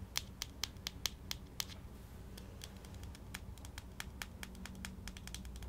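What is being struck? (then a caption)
Small plastic jar with screw lid. Fingertips and short nails tap on the blue screw lid and rim of a small plastic Vaseline petroleum jelly jar with a translucent body, probably full and held in one hand, possibly also twisting the lid. Sharp, bright plastic clicks come quickly at first, then continue as a denser string of lighter ticks. A low, steady rumble runs underneath throughout.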